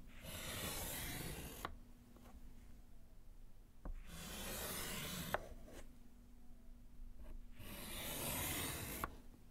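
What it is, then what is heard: Slate chalkboard being written on. A gloved hand scratches lines with yellow chalk across a small, solid slate chalkboard set in a wooden frame. Three bright, gritty scraping strokes of about one and a half seconds each are separated by quieter pauses, and sharp little taps mark where the chalk lifts or lands.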